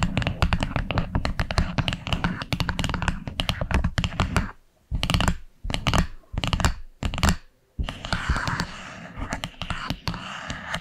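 Long acrylic nails tap rapidly on the dark wood lid of a small flat box, producing dense, dry, low-heavy clicks with almost no ring. After about four seconds the tapping breaks into short bursts separated by silences, then settles into a softer, scratchier texture with a bright hiss.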